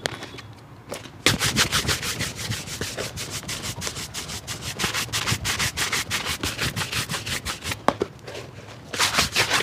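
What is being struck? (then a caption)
Leather shoe brushed with a bristle brush. A hollow, empty black leather shoe, held by hand, is brushed rapidly back and forth with a wooden-backed bristle shoe brush. The strokes make a steady run of bright, scratchy swishes, starting after a quiet first second, briefly pausing near the eight-second mark, then resuming.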